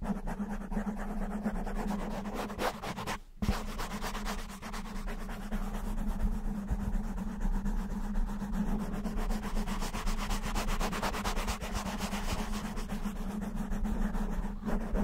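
Fingertips and short nails of both hands scratch a soft, porous black foam windscreen covering a microphone. The result is a dense, continuous rustling scratch, heavy in the low end with a steady hum underneath. There is a brief pause near the 3-second mark.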